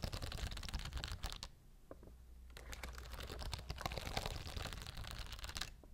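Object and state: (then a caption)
Plastic rhinestone sheet. Long blue nails scratch and tap across a clear plastic rhinestone-grid sheet held close up. The result is a dense run of bright, crisp clicks and scrapes that stops briefly near the middle, then resumes, over a steady low hum.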